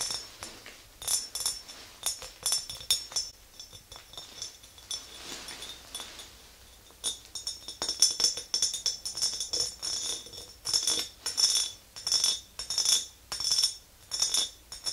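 Long green nails tap and scratch the ridged glass of an empty clear glass mason jar with a handle. Bright, glassy clinks come in quick, uneven bursts with very short ring, broken by a softer stretch of scraping before the tapping picks up again.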